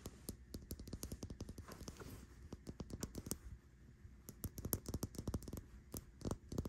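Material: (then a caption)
Plastic. Long nails tap and scratch a small white and pink plastic cosmetic bottle with a pink cap, resting on a bedsheet, tapping both its body and cap. Rapid, dry clicking taps with a dull low thud and almost no ring come in quick bursts, with a brief soft scratching stretch near the middle.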